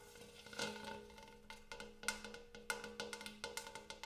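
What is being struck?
Large hammered metal bowl.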